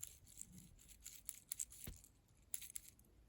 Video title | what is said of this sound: Porsche OEM Parts = Made in China?! Faulty 986 Boxster Headlight Switch | you can hear all the plastic inside is broken apart